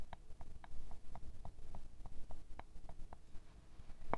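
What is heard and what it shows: A square glass perfume bottle full of amber liquid is tapped, first with fingernails and then with a thin wooden stick. The taps are quick, light clicks with a short glassy ring around 680 Hz over a low background rumble, ending with one sharper, brighter tap.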